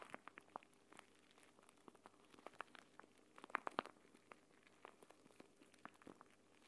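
A clear plastic gel bead eye mask, a pouch filled with green gel beads, is held in both hands above a mat and squeezed and kneaded so the beads shift inside while nails press into the plastic. This makes quiet, irregular, sharp little clicks and crinkly crackles with no ring, over a faint steady background hum. A louder cluster of snaps comes midway through.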